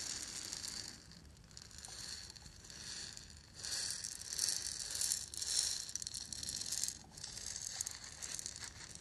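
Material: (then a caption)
Lacquered wood. Long nails scratch and tap the surface of a small, hollow, lacquered and painted wooden ball rattle held up close. The result is a dense, bright, crackly scratching with a faint rattle, rising and falling in soft swells of loudness with little low end.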